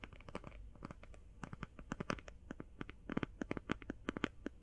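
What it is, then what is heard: Eye shadow palette. Fast binaural tapping on an eye shadow palette produces a rapid, irregular run of short, dry clicks and taps. Each tap stops almost instantly with no ring, over a faint low background rumble.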